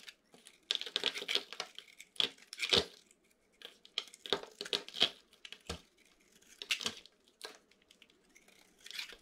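A utility knife blade cuts brittle shavings off a solid white dry bar soap with a pink, silver and gold glitter coating, held in the hand. Bursts of crisp, crunchy scraping and cracking come in quick clusters with short gaps, bright and high in tone, each snap dying away almost at once.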